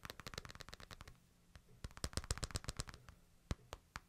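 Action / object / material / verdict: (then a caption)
tap / smartphone with glass screen and plastic or metal edge / glass / none. Fingertips and short nails tap and trace along the sides and back of a small smartphone with a glass screen and a plastic/metal edge. A rapid flurry of sharp, bright clicky taps fills the first second, then a brief quiet scratchy pause. A second cluster of crisp ticks follows before a few isolated taps close the clip.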